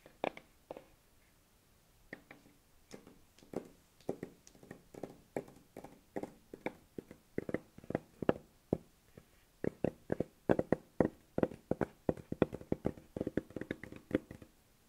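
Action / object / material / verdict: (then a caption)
tap / hardboard (fiberboard) clipboard / fiberboard / none. Long nails and fingertips tap across a large, flat, solid brown hardboard (fiberboard) clipboard held upright. Dozens of quick, dry taps with a muted mid-range knock die away almost instantly, starting sparse after a brief pause and growing denser and slightly louder toward the end.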